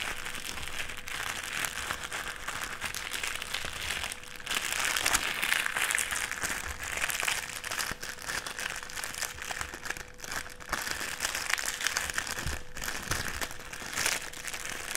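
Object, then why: Clear plastic sheet. A clear plastic sheet rolled into a strip on a table is squeezed and rubbed between fingers, crinkling it. There is a steady, dense crackle of bright, sharp snaps that swells and eases with the handling, with a faint steady low hum underneath.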